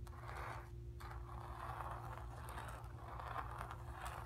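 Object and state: Painted canvas scratched with fingernails.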